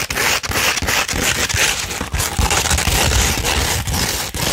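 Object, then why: Sandpaper sheet. Long red nails scratch across a flat-held sheet of 240 grit sandpaper, making a continuous run of bright, gritty rasping strokes with short dips between them. A low rumble sits under the dry, crackling scrape.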